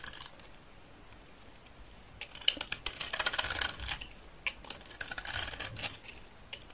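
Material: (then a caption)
Soap. A utility knife blade scrapes shavings off the face of a solid, dry green soap bar held in the hand. The result is a series of crisp, bright, dry scraping bursts with almost no low end and no ringing after each stroke, separated by quiet pauses.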